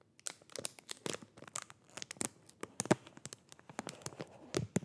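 Fingertips crinkle and rub a thin, transparent, hollow plastic sleeve around a black-handled makeup brush held in both hands, sliding it along the brush. The result is a quiet, irregular stream of crisp crackles and short, bright snaps, with no ringing between them.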